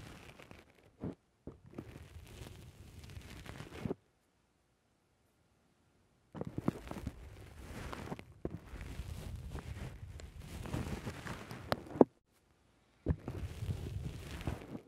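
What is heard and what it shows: Fingertips press and squish a soft, porous, black dome-shaped foam windscreen on a microphone, making close, low, muffled rustling and crackling with occasional sharper crinkles. The squishing comes in three bursts separated by dead-silent pauses.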